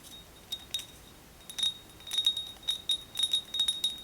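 Fingernails tap repeatedly on a ceramic Hello Kitty mug, giving a series of light, irregular clicks. Each tap produces a short, bright, chime-like ring near 3.7 kHz that fades quickly.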